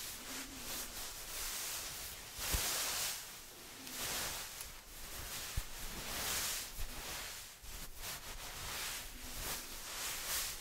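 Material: Nothing is struck.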